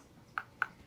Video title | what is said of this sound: 🎥 Live Surgery: Watch Dr. Shatkin Place A 3-Unit Bridge Combining Both Mini & Mono Dental Implants | I always like to tap on them. It makes me feel good to hear that nice solid sound.